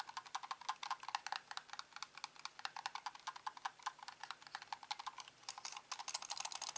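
Fingertips tap and scratch the top and underside of a hand-sized, hollow, black plastic corded computer mouse that has been turned over. The result is a rapid, uneven stream of dozens of dry, sharp clicks and taps with bright, high-end crackle and almost no low end. The tapping grows denser and louder toward the end.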